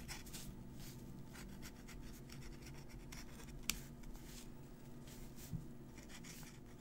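A metal fountain pen nib scratches across a handwritten, crumpled paper sheet while writing. It makes quiet, bright, rough strokes over a steady low hum, with a couple of sharper ticks.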